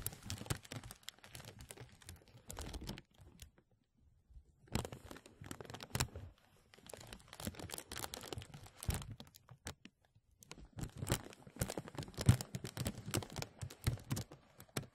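Hands rub the sides of a thin translucent plastic bag stretched over a mesh microphone, producing dense, close crinkling and crackling with a strong low-end rumble and bright, crisp edges. The crinkles come in bursts, with brief near-silent pauses around the four-second and ten-second marks before the rubbing resumes more intensely toward the end.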